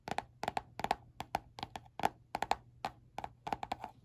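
Fingernails tap and scratch the glossy peach-print laminated cardboard cover of a small spiral-bound notebook held in one hand. The taps land in quick pairs and clusters, each a short, dry click with a hollow tone around 800 Hz and a bright edge that dies away almost at once. The sound is quiet, with soft scratching between the taps.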